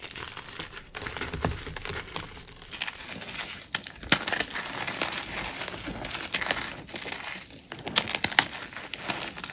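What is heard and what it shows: White gym chalk chunks and powder are squeezed, crushed and crumbled between fingertips and palms inside a tray full of chalk powder, the solid, crumbly block breaking apart under crushing and rubbing. The result is a steady, bright, dry crinkling crunch with little low end, punctuated by sharper crackling snaps, most prominently around the middle and near the end.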